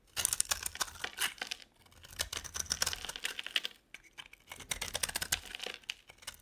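A metal utility blade carves a solid, rectangular dry bar soap held in the hand; the bar has a blue glittery coat and a yellow-tan inside. Bright, dry crackling and scraping comes in three stretches of rapid little snaps, separated by short pauses. Crisp flakes break away with each stroke.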